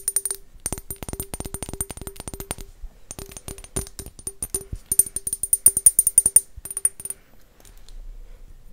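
An empty, faceted square clear glass bottle is held up and tapped with long nails in quick bursts of short, crisp clicks. Each tap carries a bright, high glassy ping over a faint lower tone. The taps pause briefly, build louder near the end, then stop, leaving a soft low rumble.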